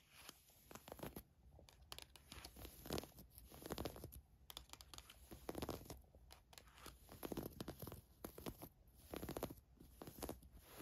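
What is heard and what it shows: Long nails quickly scratch and rub a navy floral woven fabric camisole top, producing soft, dry scratching and rustling. The sound comes in repeated short bursts of bright, crinkly friction with quiet pauses between them.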